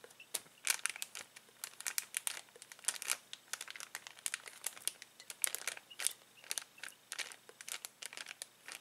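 A hand slides along, presses and crinkles a clear plastic bag full of uninflated latex balloons. The result is a quiet, steady stream of dozens of short, sharp, bright crackles and rustles with no low end. Each crinkle snaps off almost instantly.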